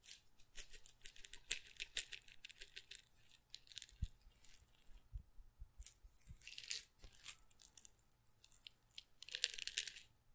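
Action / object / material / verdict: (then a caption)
shake / glass grinder jar with peppercorns / glass / none. A small glass pepper grinder jar with a plastic cap, partly full of peppercorns, is moved around the mic and shaken by hand. The peppercorns rattle in dense, bright bursts of dry clicks against the glass, with quieter pauses and a few low thuds in between.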